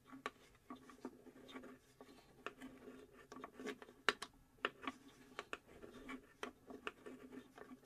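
Long acrylic nails tap and scratch across the engraved, flat plywood back panel of a hollow UGEARS plywood puzzle safe box. Quiet, dry, short taps with bright clicky edges stand out over soft, continuous scratching, with almost no low-end body and very little ring after each hit.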